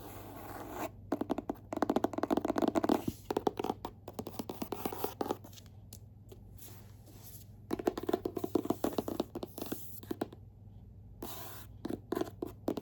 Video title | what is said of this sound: ASMR Book Tapping & Scratching, 2025 Book of the Month Rankings *tingles* *lofi* *whisper* *soft-so | they're all hard cover. So, fun to tap and scratch on.